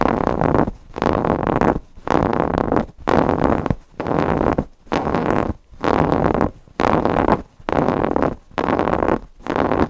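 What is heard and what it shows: Fingernails scratch the appliqué eye and polka-dot fabric of a stuffed cotton owl cushion. The result is a steady run of dense, rough scratching strokes, about one a second, each separated by a brief near-silent gap. The sound is full in the low and middle range with very little bright top.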